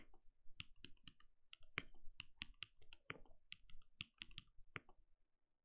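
A compact backlit mechanical keyboard with plastic keycaps and a translucent glowing case is typed on rapidly with the fingertips of both hands. About seventeen short, dry, bright clicks ring out with a low thock under each tap and no lingering ring, in an irregular fast rhythm.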